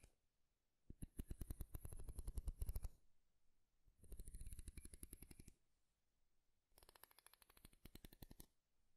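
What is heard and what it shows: Fingernails pluck and scratch the teeth of a light wooden wide-tooth comb close to a microphone. The sound comes in three bursts of rapid, crisp ticking, each lasting about one and a half to two seconds, with short quiet gaps between them. The last burst is softer than the first two.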